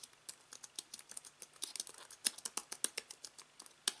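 Fingertips type on the white plastic keys of a slim aluminium and plastic computer keyboard resting on fabric. The result is a quick, uneven run of light, bright key clicks that stop dead with almost no ring. Some strokes land harder than others.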